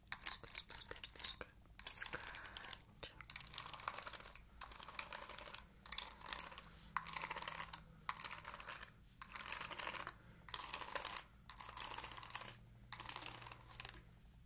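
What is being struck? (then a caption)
Plastic paddle hairbrush with ball-tipped bristles. Long nails scratch and flick the ball-tipped bristles of an oval plastic paddle hairbrush with a purple back and a black cushion. Quiet, bright, crackly scratching comes in repeated short bursts separated by brief pauses, each burst made of rapid tiny ticks.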